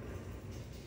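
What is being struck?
Nothing is struck.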